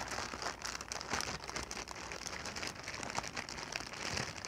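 A clear, inflated plastic air-cushion packing pillow, hollow and air-filled, is held in the hands and squeezed, crinkled and tapped with fingertips and long nails. Dense, bright crinkling and crackling comes through with quick tapping clicks, sustained without pause.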